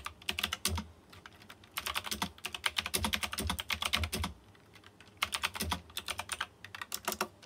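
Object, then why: Plastic mechanical keyboard with round metal-rimmed keycaps. Fingertips type rapidly on a white plastic mechanical keyboard with round chrome-rimmed keycaps. Bright, crisp clicks come in three quick bursts separated by short pauses, each keystroke short and dry with almost no ring.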